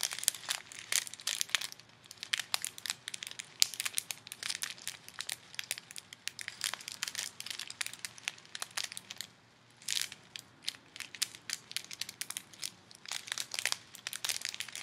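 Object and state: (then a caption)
Plastic bag of foam beads. Fingers with long nails squeeze and crinkle a small clear plastic bag full of colorful foam beads held close. Dense, bright crinkling and crackling bursts come in quick clusters, with a brief quiet gap just before the ten-second mark before the squeezing resumes.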